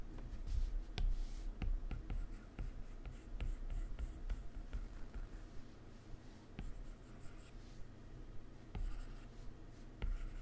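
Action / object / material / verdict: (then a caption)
scrape / hard plastic stylus on a glass tablet touchscreen / glass / none. A hard plastic stylus rubs shading strokes across the solid glass screen of a large, flat iPad resting on a laptop keyboard, then taps a menu near the edge. The soft, steady scratchy rubbing sits mostly in a low rumble, broken by short, sharp ticks from the stylus tip that fade almost instantly.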